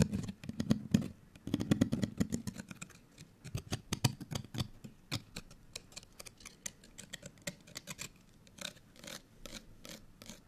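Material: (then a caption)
Paper card. A small folded, printed paper or card hang tag held in both hands is scratched with long nails, producing rapid, crackly scraping strokes with bright, papery clicks over a soft low rustle. The strokes come in dense bursts at first, then thin out into quieter, more separated scratches.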